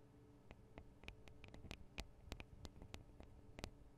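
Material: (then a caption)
Metal. Long acrylic nails rapidly tap the small hollow metal microphone capsules and their metal guard wings on a Tascam DR-40 recorder. The result is a quick, uneven series of sharp, very short clicks with bright metallic ticks, over a low, steady background hum.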